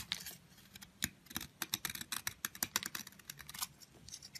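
A metal utility blade scrapes along a long, narrow, solid yellow soap stick held in the fingers, shaving off crumbly curls that fall onto a pile of blue and red soap crumbs. The result is a quiet, rapid series of short, crisp, bright scraping crackles with almost no low end and no ring after each stroke.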